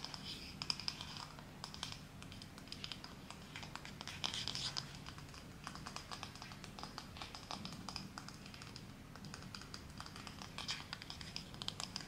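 Fingertips and nails scratch and run along the wooden pins of a wooden, possibly bamboo, paddle hairbrush held close, and tap on its wooden back. The result is a steady stream of soft, bright, crisp scratches and rapid dry clicks with a faint low rumble underneath.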